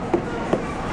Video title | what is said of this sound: BABY EINSTEIN HYPNOTIZE - July 16, 2013 - FoolyLiving Vlog | it vibrates when you knock on it yeah a deep thud that's really good